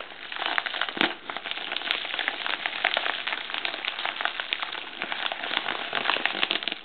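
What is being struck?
Plastic poly mailer bag.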